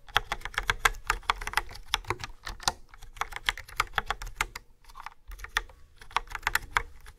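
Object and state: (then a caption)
Plastic keyboard typing with fingernails. Fingertips with nails type quickly on a yellow-framed plastic keyboard with black round keys and a hollow body. The result is a rapid run of short, bright, clacky key taps that stop dead with no ring, with a brief pause around five seconds before the typing resumes.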